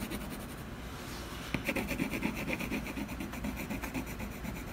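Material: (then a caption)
Canvas. A colored pencil rapidly hatches across a solid, textured canvas panel. After a soft, steady rubbing start, quick scratchy strokes begin about a second and a half in, repeating at an uneven pace with a low hum and bright, raspy overtones.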